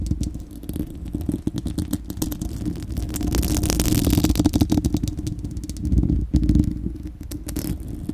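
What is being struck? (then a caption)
Steel wire-mesh microphone grille. Long acrylic nails of both hands scratch a bare, hollow, fist-sized spherical steel wire-mesh microphone grille. The rapid, irregular scraping produces a dense, clattery rasp over a heavy low rumble with a steady hum near 300 Hz, swelling louder through the middle before briefly dropping out and picking back up.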